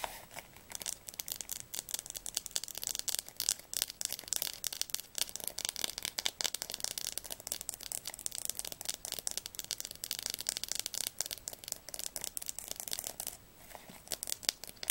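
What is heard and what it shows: Long nails tap and scratch quickly along the spine of a blue atlas, making a dense, steady stream of crisp, bright clicks and dry scraping. Every tap is short and dies away at once, with almost no low end, so the sound stays thin and papery for the whole clip.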